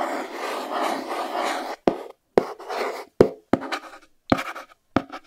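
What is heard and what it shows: Fingernails scratch and tap the edge and front face of a small white cardboard Chromecast box. A steady dry scratching runs for almost two seconds, then gives way to six sharp, separate taps, each trailed by a brief rustle of nails dragging across the cardboard.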